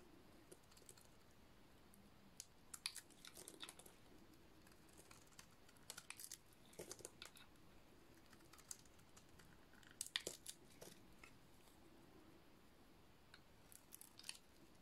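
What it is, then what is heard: Dry soap bar being shaved. A metal blade shaves a dry, solid white soap bar with a black painted coating, peeling off white flakes. Quiet, crisp, dry scraping and crackling come in short irregular bursts, with a bright, brittle edge over a soft background hiss.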